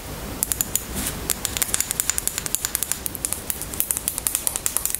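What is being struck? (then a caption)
Small plastic cosmetic bottle with cap. Long nails tap and scratch the label and cap of a small white plastic cosmetic bottle held in the hands. The result is a rapid, irregular run of crisp, bright clicks over a soft, hissy scratching texture.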